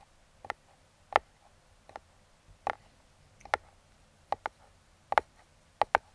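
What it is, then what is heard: Cardboard box tapped. Metal claw fingertip picks tap and trace across the top of a small, closed brown kraft cardboard box. Sharp, dry clicks sit in the mid-range around 850 Hz with almost no low end, arriving at uneven intervals and sometimes in quick pairs. Each click stops instantly with no ring, leaving a soft, quiet hiss between them.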